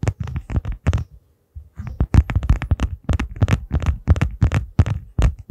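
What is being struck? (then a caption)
Small clear plastic case. Fingertips and nails tap and scratch the surface of a small, hollow, transparent plastic case that appears empty, held in both hands in front of the mic. Quick, irregular, dull taps come with short scratchy bursts, mostly low and thumpy with a bright edge, and a brief pause after the first second. Each hit dies away almost instantly.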